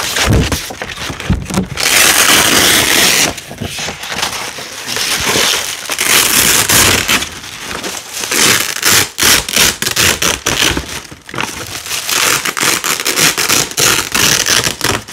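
A hand peels thin fabric strips of red hook-and-loop tape with yellow and green stripes away from black nylon hook-and-loop tape. The result is a bright, crunchy crackling rip in repeated tearing bursts, with short pauses between pulls.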